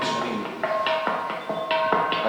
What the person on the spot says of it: Se asemeja a una campana este sonido.